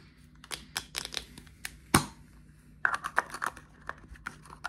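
Fingertips and nails tap and scratch a small clear plastic deodorant stick and its cap, held in the hands. Quick, dry plastic clicks and ticks come in an uneven run, with one sharper, louder tap midway. A brighter, hollow tapping on the cap follows over a faint low hum.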